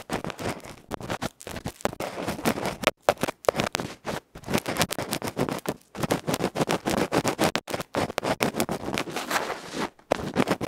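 A bamboo ear pick scratches rapidly across the felt face of a small electret microphone capsule, a metal can held in the fingers. Dense, rough scratching and scraping comes in quick, closely packed bursts with brief silent gaps, loud and close with a broad, gritty texture.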